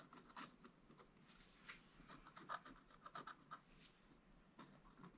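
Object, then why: Scratch art paper board scratched with a wooden stylus. A wooden stylus held in the fingers scratches lines into a black-coated scratch art page over a gold base, lying as a flat book page on a table. Soft, dry rasping strokes come in short bursts, with a few sharper scrapes ringing briefly around 1.3 kHz and a bright hiss.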